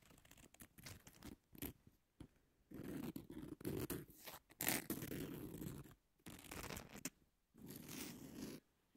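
Long natural nails scratch and tap along the abrasive surface of a long, thin, flat emery nail file with a pink edge lying on a table. Quiet, gritty scraping strokes come in bursts separated by short silences, with a few sharper taps bringing bright, airy highs over a low, rough rasp.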